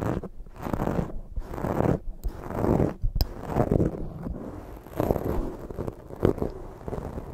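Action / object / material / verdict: scrape / foam microphone windscreen / foam / none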